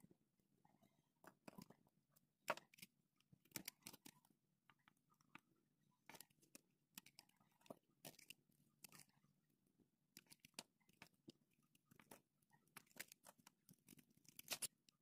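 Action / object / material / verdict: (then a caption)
scrape / bar of soap / soap / none. A solid pink bar of soap with an embossed logo is held in fingers with dark nail polish while a yellow-handled utility knife shaves thin slices off its edge. Quiet, bright crunching and scraping cuts come in quick irregular bursts, each one short and dry with no ring.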